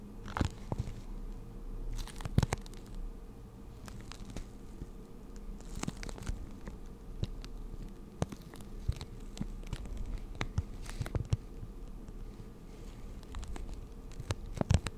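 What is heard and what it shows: A clear, hollow, hand-sized plastic blister pack of markers is tapped and scratched with long nails and squeezed slightly. Sharp clicks and light crinkles stand out from a steady low hum. The taps are scattered and irregular across the clip, with a few louder ones near the start and the end.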